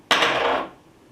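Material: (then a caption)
Bronze-filled PLA. A 3D-printed maker coin made of bronze-filled PLA is dropped or tapped, giving a single bright clink centred around 1.6 kHz that rings for about half a second before fading. It sounds markedly different from a plain PLA coin.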